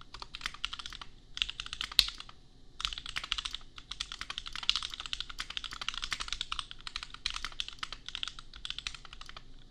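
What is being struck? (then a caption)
Plastic mechanical keyboard. Fingertips of both hands type on a compact $250 custom mechanical keyboard with Gateron Milky Yellow switches and red and pink plastic keycaps. Quick, bright, high plastic clacks come in dense bursts with short pauses between them. Each keystroke is short and dry with almost no ring.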